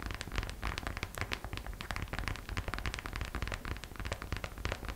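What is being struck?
Small hollow glitter vinyl purse.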